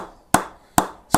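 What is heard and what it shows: Three sharp taps move along a willow B3 Custom Shape 23 cricket bat toward the toe, each a short, bright ping near 860 Hz that fades quickly. The ping is duller and petering out where the spine runs through the toe.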